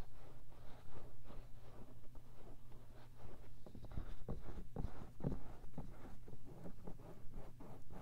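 Fingertips scratch and rub quickly and dryly on the silicone ear of a 3Dio binaural microphone set in its round white plastic housing. The sound is a dense, close, low rumbling scrape that comes in fast, uneven strokes with a few sharper taps.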